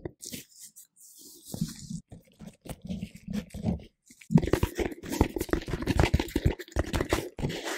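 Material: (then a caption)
Plastic. A round, hollow, palm-sized orange plastic container lid, held in black-gloved hands, is tapped and scratched with gloved fingertips. Sparse, soft, hollow low taps in the first half give way to louder, denser tapping mixed with bright scratching from about 4 seconds on. Each tap stops almost at once.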